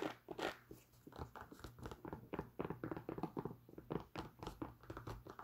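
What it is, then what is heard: Nubuck leather boot scratched and tapped. Long nails scratch and tap the leather upper of an empty tan nubuck leather Timberland work boot with metal eyelets and a thick rubber sole. The result is a quiet, close run of quick, dry taps and soft scratchy rustles that die away almost at once, over a faint steady low hum.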